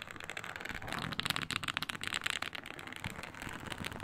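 Long pointed nails scratch across a flat, iridescent, embossed reptile-pattern synthetic leather mat made to look like snakeskin. The result is a dense, crackling, bright scratchy rasp that stays continuous and rises and falls in intensity, with little low-end weight.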